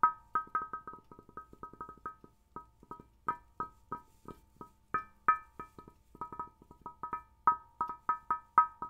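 The curved glass picture tube of an old vintage television, set in a solid cabinet, is tapped repeatedly with the fingertips and fingernails of one hand. About 29 quick, separate taps each give a short, bright, pitched glassy ping around 1.3 kHz that dies away almost at once.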